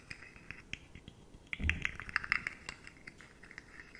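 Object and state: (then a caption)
Plastic articulated fidget toy, tapped and scratched. Long manicured nails tap and scratch along the ridges of a handheld rainbow articulated slug fidget toy, made of hollow, jointed, rigid matte plastic segments that are likely 3D-printed. Many quick, dry, bright clicks ring out in an irregular patter, with a denser burst of scraping taps around the middle that adds a low rumble.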